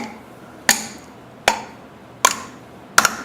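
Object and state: Pump valve seat fully seated.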